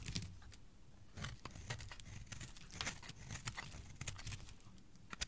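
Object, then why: Bar of soap carved with a metal blade. A cream-colored solid soap bar with an embossed "Magic" logo is held in the hand and carved with a metal utility blade, peeling off thick curls. Repeated short scraping and shaving strokes produce bright, crisp rasps over a soft low rumble, with brief dry scratches between strokes.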